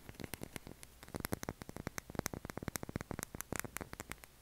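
A pale blue solid oval bar of soap is tapped and scratched with fingernails, both held in the hand and resting on a table. A quiet, rapid run of short, dry clicks and taps sounds over a faint hiss, with scratchy bursts reaching into bright highs. Each tap dies out almost instantly.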